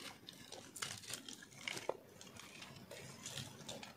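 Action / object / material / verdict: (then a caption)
scrape / bar of soap scraped with a metal blade / soap / none. A round, solid, pink-and-white speckled bar of dry soap is held in the hand and scraped and shaved with a metal blade. The crunchy carving makes quiet, bright crackling and crinkling scrapes with short, sharp snaps that stop instantly. The crunch peaks sharply just before the two-second mark.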